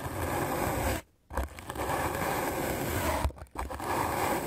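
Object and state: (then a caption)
Melamine foam sponge being brushed. A white rectangular magic eraser block of solid melamine foam, held in the hand, is scrubbed aggressively with a medium black-bristle paint brush. The result is a dense, rough, broadband scratching hiss with a low rumble, broken by two brief pauses into three sustained bursts of brushing.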